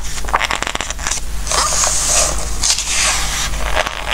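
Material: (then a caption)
Glossy paper. Fingertips rub and turn the glossy pages of a Christmas book, making a continuous bright crinkling and rustling with brief crackles. A steady low hum runs underneath throughout.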